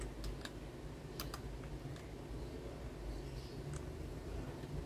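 Fingertips type on a white Garuda Gear GG68B wireless 65% mechanical keyboard with ABS plastic keycaps resting on a desk. Short, bright, sparse key clicks tick out over a steady low hum, each one dying away almost instantly.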